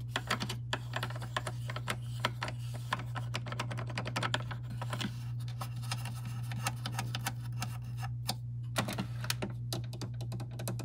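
Long nails and fingertips tap and scratch around the pod holder and open lid of a large, hollow, white plastic pod coffee machine. A rapid, continuous run of light, sharp clicks and scratches rings out over a steady low hum.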